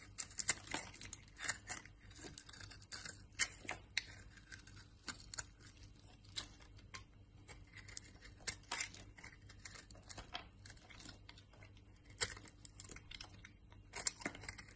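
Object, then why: Bar of laundry soap shaved with a blade. A utility knife blade shaves a solid brown laundry soap bar, turning it into crumbly shavings. Dry, bright scraping and crunching strokes come in quick irregular bursts, with sharper snaps now and then, over a faint steady low hum.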